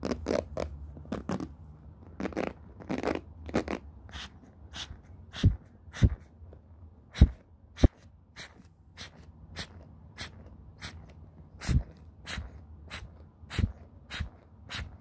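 Short fingernails and fingertips scratch and strum across the many ball-tipped pin bristles of a black plastic paddle hairbrush with a cushion pad, held in the hands. The result is a steady, irregular run of quick, dry, crackling strokes with almost no ring, over a faint low rumble.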